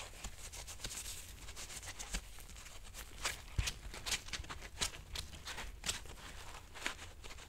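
A soft, hollow white nylon mesh bath loofah with a rope cord is squeezed and rubbed by nitrile-gloved hands. The result is a steady, quiet crinkly rustle with bright, crackling scratches and brief sharper crunches over a faint low rumble.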